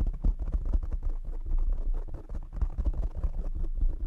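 Fingertips and short nails of both hands tap and scratch a black foam windscreen on a desktop microphone. The result is a dense, continuous stream of deep, muffled thumps and rough scratching rumble, almost entirely low in pitch with no bright content. It stays busy and uneven throughout.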